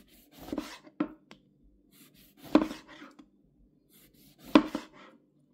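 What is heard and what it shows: A hand with long red nails holds a whole yellow lemon, solid and juicy, while a steel chef's knife slices it into thin rounds on a green plastic cutting board. Each cut makes a short, juicy crunch that ends with a dull knock as the knife strikes the board, with a faint rustle between strokes. The cuts come at a slow, uneven pace and die away almost at once.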